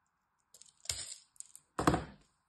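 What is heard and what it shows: A metal blade carves and scrapes a solid green dry bar of soap with a stamped brand name, breaking chips off. Light, brittle ticks lead into two louder crunchy scraping cracks, each with a deep thud-like body and crumbly high detail, with a faint steady hum underneath.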